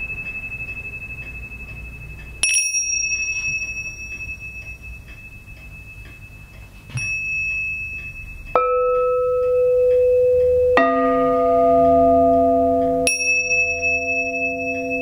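Small brass tingsha cymbals, solid metal discs hanging from cords and held in gloved hands, are struck on their surface with a thin rod. Five distinct strikes each ring out bell-like over a steady high tone, with later hits adding lower pitches that overlap and sustain for several seconds.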